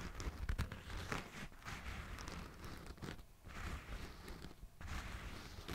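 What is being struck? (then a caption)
Running shoe of synthetic mesh and plastic. A hollow, empty black and yellow running shoe made of synthetic mesh and plastic is held beside the mic while its upper is scratched with fingertips and nails. The result is a continuous rough scratching and crinkling texture with soft bursts of friction over a heavy low rumble, fairly quiet throughout.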